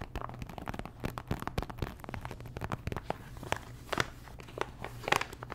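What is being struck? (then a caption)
Thin plastic pouch of stickers. Long nails tap and scratch a small, thin, flat printed plastic pouch, sealed with colorful stickers inside. The result is a quiet, dense run of sharp crinkly clicks and crackles with brief scratchy bright streaks, each tap dying away almost instantly over a faint low steady hum.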